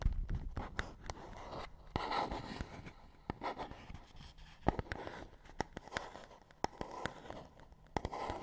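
Long nails tap and scratch on a small, empty cardboard medicine-style box held in both hands. Sharp, dry clicks land irregularly over a soft, continuous scratchy rustle, and each tap dies away almost instantly.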